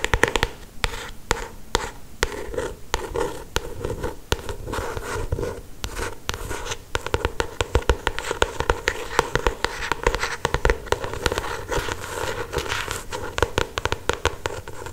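Long pointed acrylic nails tap and scratch across the glossy paper cover of a paperback novel, up close. Dry, sharp clicks land in quick, uneven bursts over a steady papery scratching, with each tap dying away almost instantly. The sound is mostly low and mid-range with little brightness, and it keeps up without a break for the whole clip.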